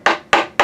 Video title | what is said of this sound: TOOL BOX THURSDAY - METAL TOOLS MADE IN THE U.S.A. | this is solid metal. You can hear it tapping on my little table there.